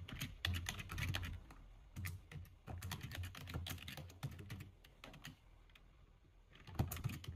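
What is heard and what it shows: Fast, uneven typing with the fingertips of both hands on a full-size black plastic computer keyboard gives dense bursts of short clacks, each a low thump with a bright click. The typing eases into a near pause before a final quick flurry of keystrokes.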